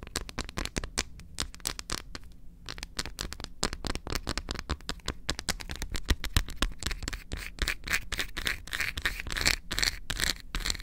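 Long acrylic nails rapidly tap and scratch the face and edge of a large, solid, unwrapped milk chocolate bar held upright in both hands. The result is a dense stream of sharp, dry clicks and brief scratchy scrapes with almost no ring, grower brighter and crisper toward the end.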